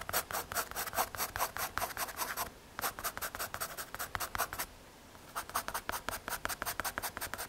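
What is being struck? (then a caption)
Graphite pencil on MDF board. A graphite pencil scratches and shades across a small, solid, flat brown MDF/hardboard drawing board, making about 34 quick, dry strokes in three bursts separated by brief pauses. Each stroke is a short, raspy scratch centered around 1 kHz with bright, hissy upper edges and very little low end.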